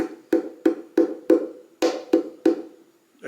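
Eight taps on the wooden body of an Eastman 815 oval-hole F-style mandolin, each a short, bright, woody knock with a hollow tone around 330 Hz that dies away quickly. The tapping sounds noticeably brighter and woodier than the 814, with less midrange.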